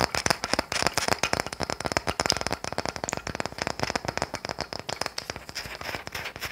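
A small, solid, unfinished wooden toy car is held in the hand and tapped and scratched with long nails. The result is a fast, steady stream of dry, crisp clicks and scrapes with no ring after each tap.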